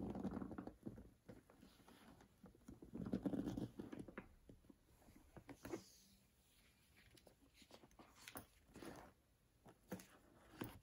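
Long manicured nails and fingertips tap and rub the front panel and handles of a medium beige structured leather handbag, likely faux leather, which is hollow and mostly full, with a long strap and small metal buckles, then lift the strap. Quiet, irregular, dull taps and soft rubbing sit mostly in the low-mid range, with short louder bursts of scuffing and only faint hints of metal from the buckles.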